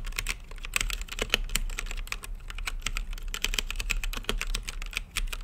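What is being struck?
Plastic mechanical keyboard with acrylic case.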